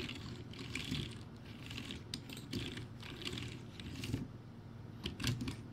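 Fingertips type fast on a backlit, crappy plastic typewriter-style keyboard with round white plastic keycaps. A rapid, steady stream of clacky keystrokes blends together, with a dull low thud under bright clicking that rises in short bursts.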